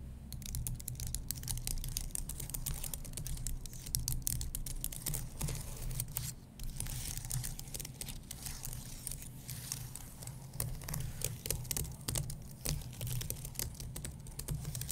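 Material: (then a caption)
Plastic, aluminum. Fingertips and nails tap and scratch the plastic keys of a white low-profile keyboard on an aluminum base. Dense, crisp clicks and bright, scratchy ticks run throughout over a steady low hum.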